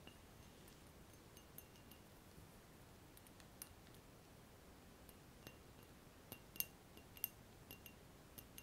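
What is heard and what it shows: A large, clear, empty round-bottom glass flask is held by the neck while fingertips and nails tap the bulb and neck. Sparse, light taps give bright, chime-like clinks with short, high ringing over a quiet, low background hiss. The loudest taps land near the end.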